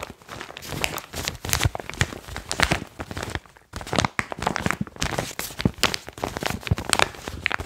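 A foil-lined plastic chalk bag is held up, brought down to the mic and crinkled by fingertips. Dense, dry crackles and sharp snaps spread from deep low thuds to bright high edges, with a brief near-silent pause just before the crinkling resumes at full intensity.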